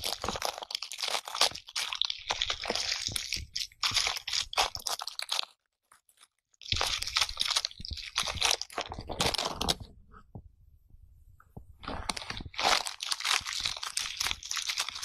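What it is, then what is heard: Natural bristle bath brush. An oval bath brush with dense, stiff natural bristles is brushed back and forth against a clear pane, giving bright, crunchy scratching strokes in quick bursts. The brushing stops briefly near the middle, turns faint for a stretch, then resumes at full strength.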